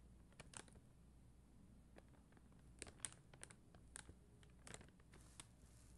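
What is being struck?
Plastic rhinestone sticker sheet tapped with fingernails.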